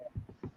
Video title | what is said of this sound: Saturday fun open chat! | You can probably hear it me tapping on it. Yeah. That's a kitchen table.